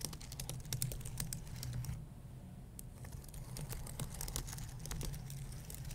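Fingertips and nails press and scratch the plastic keys of a white low-profile keyboard on an aluminum base, making quick typing-like taps. Dense, bright clicks and faint scratches ride over a steady low hum, with a short lull a little after the two-second mark before the tapping resumes.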